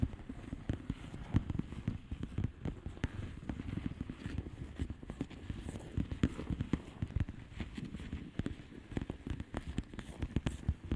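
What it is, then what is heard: Plastic bubble wrap mailer. Long manicured nails of both hands tap rapidly across a flat padded mailer with a plastic bubble wrap surface of hollow air bubbles, lying flat. The continuous stream of soft, dull, low taps dies away almost instantly, with no talking.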